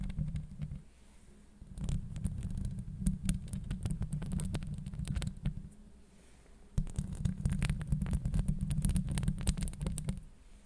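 Long acrylic nails scratch and tap the metal mesh grille of a Blue Yeti microphone. A dense, low rumbling scrape is broken by quick clicking taps, with loud bursts from about 1.8 to 5.3 seconds and again from about 6.8 to 10.3 seconds, and quieter lulls between them.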